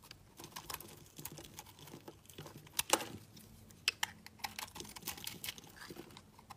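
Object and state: Soap bar being scraped with a knife.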